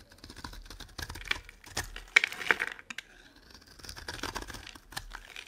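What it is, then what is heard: Dry soap bar being carved. A dry, solid oval soap bar with yellow and green stripes is held in the palm while a metal blade scrapes and carves it into cubes and shavings. Bright, crisp scraping and crunchy cutting sounds come in an irregular series of short bursts, with a few sharper snaps as pieces break away, separated by brief quiet pauses.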